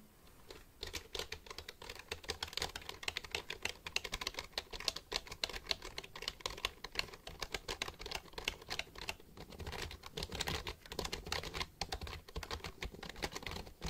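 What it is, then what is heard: Plastic computer keyboard. A full-size black plastic computer keyboard with a hollow body is held upright in front of the mic while fingertips press and tap its keys. Rapid, continuous typing produces a dense stream of short, dry, bright clicks and clacks for the whole clip, with a faint low hollow thump under each press.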